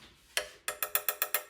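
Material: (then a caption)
Metal. A body part of a Huina 1582 all-metal RC dump truck is tapped seven times. Each tap gives a bright, short metallic tick with almost no low end and a quick decay, confirming the part is metal.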